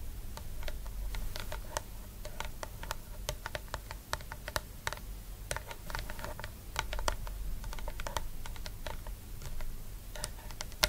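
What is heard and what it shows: Long nude nails tap and scratch the top and sides of a medium round plastic cosmetic jar with a pale green body and a white lid with embossed lettering, lying on its side on a purple blanket. A quick, irregular stream of sharp, dry clicks that die out almost instantly is heard, mixed with soft scratching over a steady low rumble.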